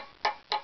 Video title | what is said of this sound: Violin Tap Tone Survey of Bridge, Back Plate, Fingerboard, and Tailpiece. | the tail piece should be 242 but it's not